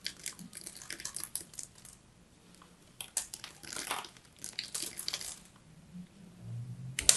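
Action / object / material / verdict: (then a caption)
scrape / bar of soap scraped with a small metal blade / soap / none. A small metal blade scrapes the surface of a solid striped bar of soap held in the hand. Bright, dry, crinkly scratching comes in quick bursts with a short quieter pause, then grows louder at the very end.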